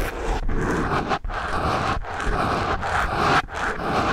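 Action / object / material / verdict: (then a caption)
scrape / foam microphone windscreen rubbed with pencil erasers / foam / none. Two pencil erasers with metal ferrules scratch and rub against the same foam microphone windscreen. The result is a steady, dense, close-up scraping rustle with a deep, muffled low-end rumble, broken by a few brief pauses between strokes.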